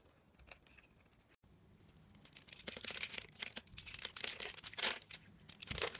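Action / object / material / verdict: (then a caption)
scrape / bar of soap / soap / none. A metal blade scrapes small cubes off a solid rectangular bar of blue and white diagonally striped soap, held in the hand, with its surface pre-scored in a grid. Soft, bright crackling and crumbling starts faintly, breaks off in a brief silence, then builds into denser, louder scraping with crisp, high flaking bursts.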